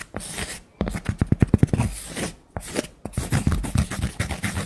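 Long nails scratch and tap the flat face and edge of a thick, round, solid cork coaster held in the hand. The result is a series of dull, muffled taps mixed with soft, rough scratching, most of the energy sitting low with little brightness.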